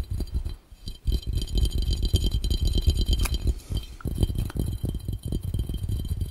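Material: Glass.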